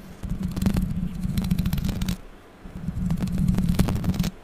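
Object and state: Metal microphone mesh grille.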